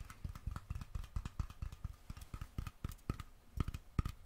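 Fingertips and nails tap the screw-on metal lid and its rim on a small glass mason jar filled with something dark and glittery, held in one hand close to the microphone. Roughly 25 quick, dry taps land in an uneven rhythm, each a soft low thump with a faint metallic ping around 1.2 kHz that stops almost instantly.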